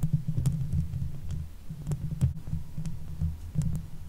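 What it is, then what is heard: Metal mesh microphone grille being scratched. Long nails on both hands scratch the top and sides of a Blue Yeti microphone's hollow metal mesh grille. The scratching comes through as a low, throbbing rumble with short, faint bright ticks scattered throughout, in an uneven rhythm.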